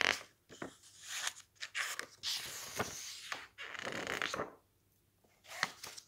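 Fingertips flip the pages of a thick cookbook with glossy coated paper in quick succession, so the sheets flap and rustle. Bright, airy swishes and sharp papery snaps come in irregular bursts, with a near-silent pause before a final flurry of flips.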